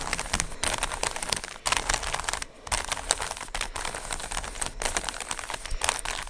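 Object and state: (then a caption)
Plastic Rubik's cube being twisted. Fingertips twist the layers of a small, solid plastic 3x3 speed cube with coloured stickers, held in both hands close to the mic. The twisting makes a rapid, continuous stream of sharp, bright clicks and rattles with a crinkly texture. The sound pauses briefly twice near the start, then continues steadily to the end.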